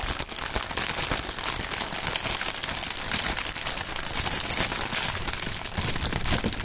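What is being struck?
Plastic air cushion packing film.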